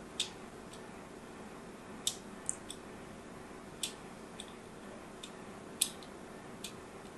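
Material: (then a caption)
Soap. A craft knife tip scores and scratches lines into the surface of a solid rectangular purple bar of soap held in a palm with long grey nails. About ten short, crisp, bright scrapes sound at irregular intervals over a low, steady background hiss, each fading almost instantly.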